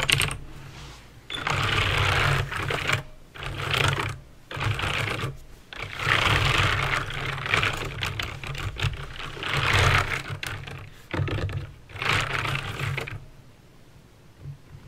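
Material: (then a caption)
Plastic. Fingertips with painted nails type slowly on a backlit plastic mechanical keyboard with clicky green switches. Bursts of sharp, bright clicks come in runs separated by short pauses, over a low steady hum, and the typing stops near the end, leaving only faint background.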